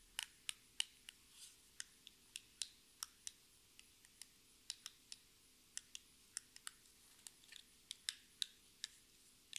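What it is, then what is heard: Cardboard lipstick box tapped with fingernails. A small, hollow orange-and-white cardboard lipstick box with a barcode is slowly tapped and scratched with long red nails. About two dozen crisp, bright clicks sound out one by one against near silence, with a brief soft scratch between them. Each tap is dry and stops almost instantly, with no low body to the sound.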